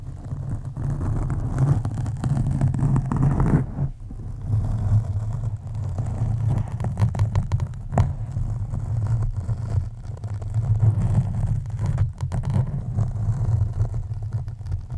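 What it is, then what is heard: Foam microphone windscreen being scratched. Long nails of both hands scratch and squeeze a black, soft, porous foam microphone cover, producing a deep, muffled rumbling scrape that stays almost entirely in the low range. The rubbing runs continuously with brief dips near 4 and 12 seconds and a sharper crackle around 8 seconds.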